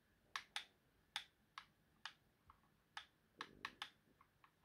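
Fingertips press and tap the buttons and thumbstick of a hollow white plastic Xbox game controller, producing about ten sharp, bright plastic clicks that die away almost instantly. By the end, the hand covers part of the controller and the last taps come through softer.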